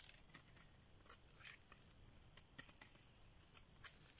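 A metal blade carves and scrapes a solid cream rectangular dry soap bar held in the palm, lifting off thick shavings. Quiet, dry, high-pitched scraping and crackling comes in a string of short, crisp bursts with almost no ring.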